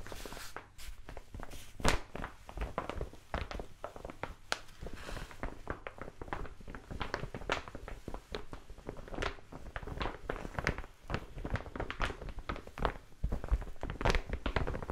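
A large brown kraft paper mailer envelope is held upright while fingertips and long nails tap and scratch its surface. Many quick, dry taps with brief, crisp scratches follow one another steadily. The sound is mostly dull and low with little ring.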